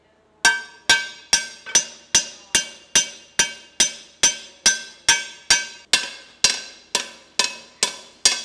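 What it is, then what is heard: Carbon steel skillet blank being hammered. A hammer strikes the edge of a flat, round, solid carbon steel disc, an approximately 10-inch skillet blank clamped upright in a metal vise or form, shaping it in a blacksmith workshop. There are 19 sharp, bright metallic clanks at a steady pace, each ringing briefly with a high, glassy tone before dying away quickly.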